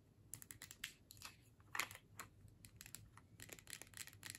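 Long fingernails tap quickly on the body of a filled plastic tube with a metal screw cap held in the hands. The result is a rapid, irregular string of light, bright, dry clicks with almost no ring, over a faint low hum.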